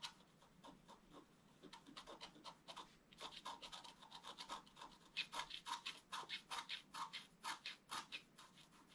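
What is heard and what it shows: A thin wooden stylus scratches fast hatching strokes across a flat, black-coated scratch-art card. Dry, bright rasping bursts repeat at an uneven rapid pace, soft at first and growing louder and crisper after about three seconds. There is almost no low end.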